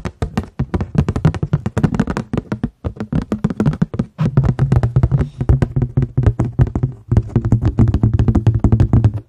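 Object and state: Paper plate.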